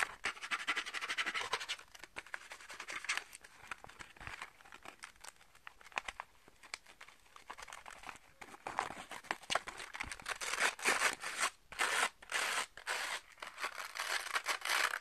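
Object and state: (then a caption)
Velcro catch paddle with plastic rim. A round velcro catch paddle with a pink plastic rim is turned in the hands while fingertips and nails scratch and rub its felt/velcro face and rim. The result is dense, dry, crackly scratching with bright rasping bursts and almost no low end, growing louder and busier in the second half.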